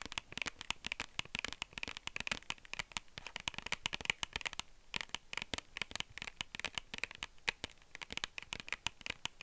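Long nails tap and scratch the flat face of a small, hollow, clear plastic case held in one hand. The result is a fast, dense run of dry, bright clicks and scratchy scrapes that die away almost instantly, with most of the energy high up around 2–3 kHz.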